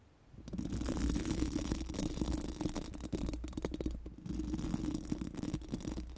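Four pink silicone spoolie brushes are rubbed over a bare, hollow steel mesh microphone grille. The result is a dense, continuous scratchy rustle with a hollow, boomy low-end resonance. It eases briefly around the four-second mark, then picks back up.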